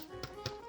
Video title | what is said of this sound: Thanksgiving Preparation: The Bread - No Knead Bread | can you hear that hollow sound